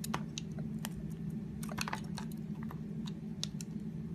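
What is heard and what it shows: A utility knife blade carves a solid purple soap bar, shaving off ruffled curls. Short, crisp, bright scraping crunches come irregularly over a steady low hum.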